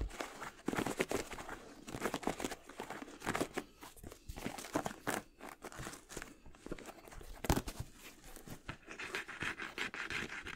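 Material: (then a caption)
Leather. A hollow, empty white and brown high-top leather sneaker with a rubber sole and gold eyelets is held up in both hands while fingertips and nails tap and scratch its leather upper and sole. The result is a steady stream of quick, dry taps and scratchy rustles with a papery, crinkling texture and almost no ring, with a few sharper knocks standing out.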